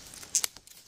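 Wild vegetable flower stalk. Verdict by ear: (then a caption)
Fresh. A fresh wild vegetable flower stalk, an expensive foraged green, is snapped or handled, giving three sharp, bright crisp cracks in quick succession with almost no low end. The crisp snap shows the stalk is fresh.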